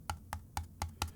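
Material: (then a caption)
Plastic. Five quick taps on the plastic top shell of a Mavic 3 camera drone give short, dry knocks with a low thump and a brief bright click. The knocks die away almost at once. The top shell sounds hollow and less rigid than earlier models.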